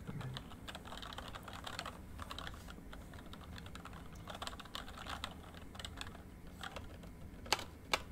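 Fast typing with the fingertips of both hands on a full-size plastic MSI membrane keyboard with rainbow backlight, lying flat on a desk. Quick, soft key taps click in an uneven stream over a low hum, and two sharper, louder clacks come near the end.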